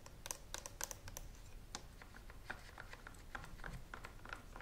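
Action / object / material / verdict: tap / plastic steam iron / plastic / none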